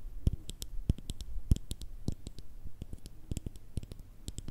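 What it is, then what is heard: Glass cream jar with plastic lid. Long red nails tap on the lid and sides of a small round cosmetic cream pot with a clear glass base and a black plastic screw lid. A quick, uneven run of short, dry clicks carries bright, high ticks over a soft low knock, and each tap dies away almost at once.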